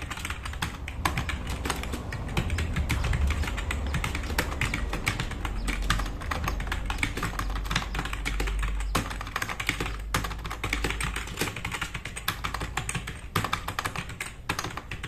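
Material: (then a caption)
Plastic. Fast typing with both hands' fingertips on a black RGB-backlit tenkeyless plastic mechanical keyboard with plastic keycaps, resting on a wooden desk. A dense, steady stream of sharp clicky keystrokes runs throughout, with brief bright clacks over a low, constant rumble underneath.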